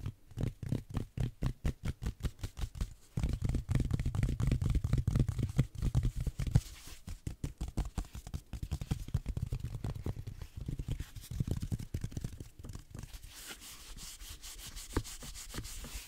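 Fingertips rub and scratch a green velvet-flocked reindeer figurine held close to the microphone, without touching the microphone itself. The result is a rapid, dense patter of soft, muffled, low-heavy scratches that swells louder in the early middle and then settles into a quieter, steady rustle.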